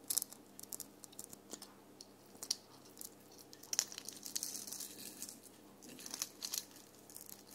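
A small round red glitter ornament with a rough, sequin-coated surface hangs on the tree and is held in the hand while long painted nails scratch it. The result is a quiet, bright, crackly scratching of many short, dry clicks and rasps, with almost no low end.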